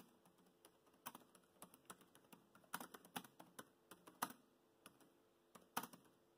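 Fingertips of both hands type on a laptop keyboard with black plastic keys, tapping the keys. About 22 quiet, short, clicky taps come at an uneven pace, some louder than others, each dying away almost instantly with a bright edge.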